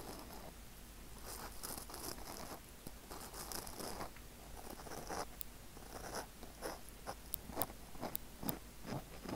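Fingers and nails of both hands scratch over the surface of a small, soft black foam windscreen on a microphone. The result is a steady run of soft, crunchy, rustling scratches over a low rumble, with a few sharp, bright clicks toward the end.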